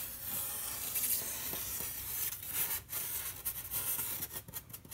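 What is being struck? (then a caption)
Painted polystyrene foam board. A fingertip in a white cloth glove traces and rubs over the red painted figures on a large, flat, white painted polystyrene foam board. The result is a quiet, continuous, dry, hissy scraping that is mostly bright and high. Near the end, brief dips break the strokes into short, uneven passes.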